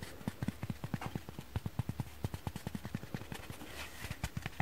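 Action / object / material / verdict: tap / kitchen foam sponge / foam / dry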